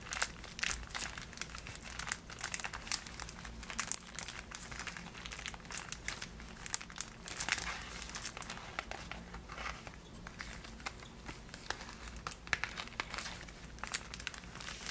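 Fingertips and long nails tap, scratch and crinkle the clear plastic window of a Niederegger marzipan gift box made of cardboard and full of wrapped bars. Dense, bright crinkling and crackling fill the clip, dotted with sharp clicking taps, over a faint low hum.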